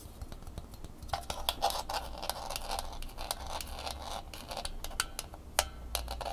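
A small red Angry Birds plastic phone tripod with bumpy, bendable legs has its hollow plastic head and legs tapped and scratched with long fingernails. Quick, light clicks and brief scratchy strokes come in a rapid, uneven stream, each tap bright and dry with almost no ring, over a faint low hum.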